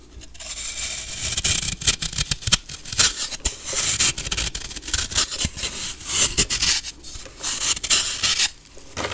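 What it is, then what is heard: Compressed baking soda block being shaved. A solid white block of pressed baking soda, held in one hand, has its surface shaved and scraped with a metal knife blade as fine powder flakes off. The result is a bright, dry, rasping scrape in uneven bursts, with occasional short sharp clicks over a faint low rumble.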